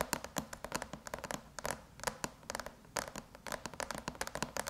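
Long metallic nails tap and lightly scratch the surface of a closed silver aluminum MacBook lid with an Apple logo, in quick typing-like patterns. A rapid, uneven run of short, dry, bright clicks with a midrange tone near 950 Hz dies away almost instantly. Faint scratchy texture sits between the taps.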